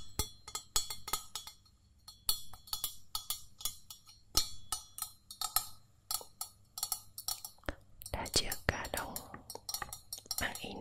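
A pouring jug is tapped repeatedly with quick, light, dry clicks that stop almost instantly and carry a bright top. The taps come in uneven bursts, and near the end they grow denser and blur into a rougher, continuous rustling texture.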